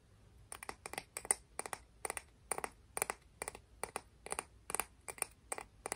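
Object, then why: Clam shell. A clam shell from the beach is tapped and scratched in quick succession. It makes a steady run of short, dry, clicky taps, often in close pairs or clusters, each bright and high-pitched with almost no ring. Quiet pauses between the bursts are nearly silent.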